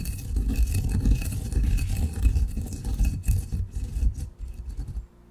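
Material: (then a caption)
Granite. A granite pestle grinds fine coffee grounds in a granite mortar, producing a continuous low, rumbling scrape with a gritty, bright hiss of grains over it. The grinding swells and eases in an uneven rhythm before stopping abruptly near the end, leaving near silence.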